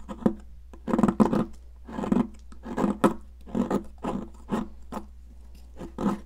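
A metal spatula or sculpting tool scrapes and carves a solid, hand-sized yellow block of cast chalk shaped like a popsicle, held in a hand with long decorated nails, shedding chalk powder onto a grey surface. Short, gritty scraping strokes come in quick bursts over a steady low hum.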